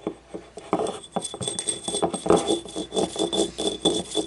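A small, hollow, yellow ribbed ceramic paint cup, held on its side, is tapped with long nails on its rim and inner edge. A quick, uneven run of light clicking taps has a hollow midrange tone that stops almost at once, over a faint steady bright ringing hum.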